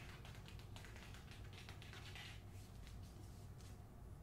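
Long nails tap and scratch across the glossy paper dust jacket of a hardcover novel held up in the air. Quick, dry, bright ticks and scraping strokes come in an irregular stream over a steady low hum.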